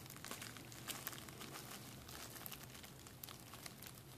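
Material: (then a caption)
Plastic. A clear plastic bubble wrap sheet, held up in a fold, has its hollow air bubbles squeezed and popped between fingers and thumbs. Continuous bright crinkling and crackling is broken by a few sharper snapping pops, over a faint low rumble throughout.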